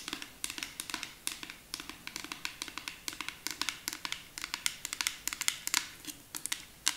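Long acrylic nails tap rapidly on a clear plastic nail polish remover bottle with a pink cap, partly filled with liquid. The result is a quick, uneven run of short, bright clicks with crisp high-frequency ticks that fade almost instantly, with no low end.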